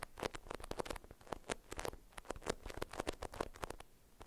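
A printed beeswax-coated cotton food wrap, folded around a small bar-shaped item and held in both hands, is scratched with long acrylic nails. Quick, dry scratching strokes come in rapid, uneven bursts, each short and crisp with a papery crinkle. A midrange body carries a bright, hissy edge.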